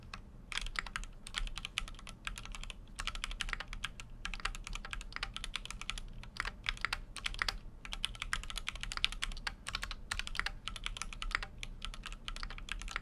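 Fast typing with the fingertips of both hands on a full-size Keychron Q6 mechanical keyboard with an aluminum case and plastic keycaps. Dense, crisp, bright clacks follow each other in quick bursts with brief pauses, over a steady low hum.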